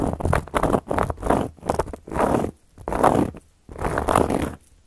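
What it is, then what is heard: Cork board scratched with metal nail caps. Long gold metal claw nail caps scratch across a round, flat, solid cork board in a series of rough, raspy strokes. Each stroke is a dry, crackly scrape, with brief quiet gaps between them.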